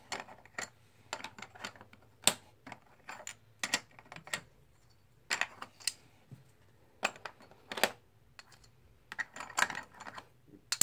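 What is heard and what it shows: Solid plastic/composite blue poker chips are stacked one by one in the palm by fingertips, giving a string of sharp, bright clicks. The clicks are short and dry with almost no ring, separated by quiet gaps, with a low steady hum underneath.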